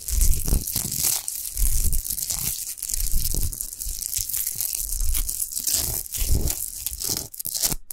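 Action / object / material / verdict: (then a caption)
scrape / rock salt lamp / rock salt / none. Long nails scratch fast over a tall, unlit, rough-textured natural Himalayan rock salt lamp made of solid salt. The result is a continuous, gritty rasping and crunching with bright, hissy texture on top and a heavy low rumble underneath, rising and falling in irregular bursts without pause.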